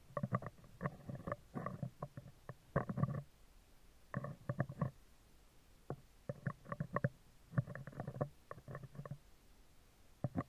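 Metal tweezers rapidly scratch and tap the right side of a hollow, round steel wire-mesh microphone grille. The result is bursts of quick, low, resonant ticks and rasps with a boomy, tonal body, separated by short pauses.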